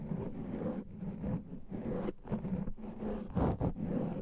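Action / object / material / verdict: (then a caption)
scrape / foam microphone windscreen / foam / none. A black foam microphone windscreen is scratched with the fingertips and nails of both hands, producing dense, muffled scratching and rubbing with a deep, boomy low rumble. The sound comes in uneven bursts separated by short dips, with almost no high-end content.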